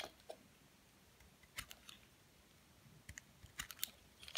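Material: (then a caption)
Soap. A utility knife blade repeatedly shaves and scrapes flakes off a solid white Dove bar soap, palm-sized and partly carved, held in the hand. About ten short, crisp, bright scraping clicks sound apart over a quiet background, each dying away almost instantly.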